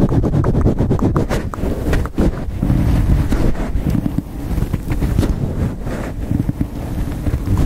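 A black foam windscreen over a handheld microphone is rubbed and scratched with long acrylic nails and fingertips close to the capsule. The result is a steady stream of loud, boomy, low rumbling and muffled scratchy bursts, with little high-end content.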